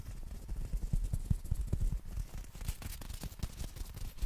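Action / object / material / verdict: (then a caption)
tap / folded umbrella with nylon canopy / nylon fabric / none. Fingertips tap and scratch the black nylon canopy of a folded compact umbrella held horizontally. The taps are soft, muffled, low thumps that die away almost at once, mixed with brief bright, rustling scratches across the fabric. The level stays quiet throughout.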